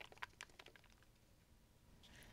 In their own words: with most gourds you can hear the seeds rattling inside when you shake it.